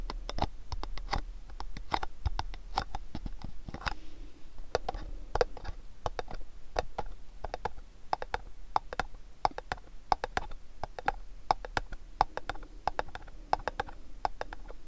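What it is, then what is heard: Cardboard gift box tapped. A long, hollow, rectangular cardboard gift box is tapped rapidly with fingernails and fingertips. It produces a steady patter of dozens of short, dry clicks and soft knocks with a hollow tone around 830 Hz, each dying away almost instantly, with faint scratchy brushing between the taps.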